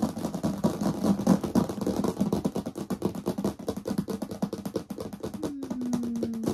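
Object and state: Plastic storage box, hollow.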